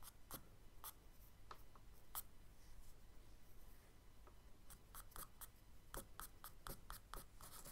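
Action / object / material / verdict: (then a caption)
scrape / charcoal stick on kraft paper sketchbook page / paper / none. Fingers hold a thin charcoal stick and hatch short strokes across a spiral-bound tan kraft paper sketchbook lying flat on a dark table. Quiet, dry, bright scratches come in irregular bursts, clustering more densely toward the end, over a faint steady low hum.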